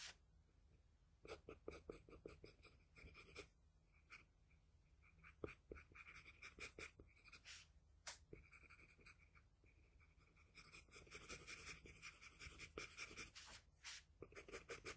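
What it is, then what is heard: Pencil shading on drawing paper. The graphite tip of a wooden pencil, held in the fingers, scratches and strokes across a flat sheet of drawing paper bearing a pencil portrait on a table while shading. The quiet, bright, dry scratching comes in quick, irregular bursts of short strokes with little ring. It grows denser and louder toward the end.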